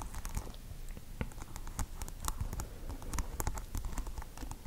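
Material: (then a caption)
Plastic. Long acrylic nails tap quickly on hard plastic pearl beads glued over green tape on a small microphone. The result is a dense stream of short, dry, clicky taps with a heavy low thump from the close microphone and bright ticks on top, each dying away almost instantly.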